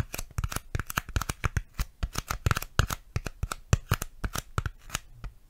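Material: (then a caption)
Styrofoam. A piece of styrofoam is tapped and handled close to a microphone, giving a quick, uneven run of about 28 short, dry taps. Each tap has a soft low thump with a light, bright squeaky crackle on top and stops dead with no ring.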